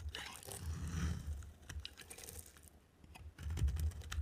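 A utility knife blade carves a dry, solid blue striped soap bar into crumbly shavings. Dry scraping crunches and crackles come in two bursts separated by a quieter gap, with a low thump underneath and short bright ticks.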